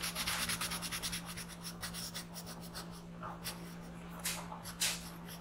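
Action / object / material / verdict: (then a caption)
scrape / pencil on a paper sheet / paper / none. A black pencil tip scratches and rubs in small circles on a thin paper coloring page lying flat on a desk, filling in an alien's eye. Rapid, bright, papery scratching strokes come densely at first, then thin out into occasional sharper scrapes. A steady low hum runs underneath throughout.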